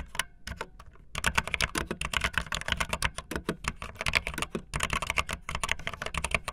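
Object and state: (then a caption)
Plastic mechanical keyboard. Fingertips with long nails type fast on a backlit optical linear plastic mechanical keyboard with white and blue plastic keycaps. After a sparse, quieter first second, a dense run of short, bright, clacky keystrokes follows with a light low thump under each press, and each stroke dies away almost instantly.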